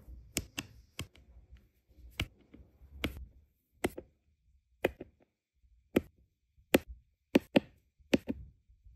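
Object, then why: Resin drills pressed with a plastic pen onto adhesive canvas. A plastic drill pen with a metal tip taps small, solid, round resin diamond painting drills into place on a flat adhesive canvas for a Lady and the Tramp design. About fourteen short, dry, bright clicks arrive at an irregular, unhurried pace, each dying away almost instantly over a faint low rustle.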